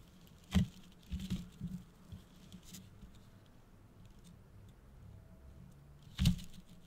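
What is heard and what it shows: Fingertips and nails tap and scratch a medium, hollow-looking red and gold tinsel-covered decorative gift box and its holographic foil bow. Soft, dull pats with short crinkly scratching come in a loose cluster early on, then fade to quiet. One last firmer tap lands near the end.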